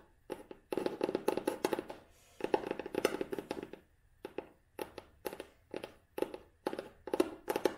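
Long nails tap on a closed vintage cloth-bound hardcover book held flat, moving between its red cloth spine with its label, the cover and the page edges. The taps come in quick bursts separated by brief pauses, each one a short, dry, muted knock with a hollow midrange tone and almost no ring.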